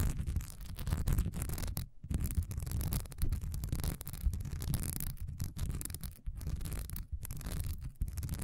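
A solid cream wax pillar candle with a diamond honeycomb texture stands upright while long nails on both hands scratch it fast. The result is a dense, continuous, rapid scratching and rubbing texture with a deep, low-heavy tone and only brief near-silent gaps as the hands pause.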